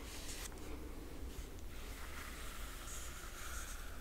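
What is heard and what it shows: Long nails on both hands scratch across the glossy paper dust jacket of a large hardcover book lying flat. The result is a steady, quiet scratching rasp over a low rumble, with brief bright, hissy strokes that come and go.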